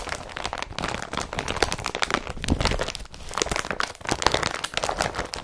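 Fingertips of both hands crumple and scratch an empty blue woven polypropylene IKEA BRATTBY carrier bag with yellow-patterned straps, lying crumpled on a dark surface. The tarp-like fabric gives a dense, continuous run of dry crinkling and crackling with bright, sharp clicks that die away almost instantly. The loudness swells and dips as the handling shifts.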